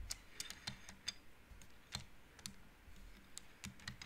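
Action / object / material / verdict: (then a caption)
knock / wooden abacus with wooden beads / wood / none. Painted wooden beads on an upright wooden-frame abacus are slid along the rods by both hands, making quiet, sharp clicks. Each click is a brief, bright tick with a soft low knock underneath, with no ring, spread irregularly through the clip over a faint rumbling background.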